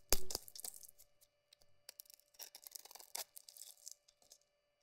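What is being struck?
Bar of soap scraped with a metal blade.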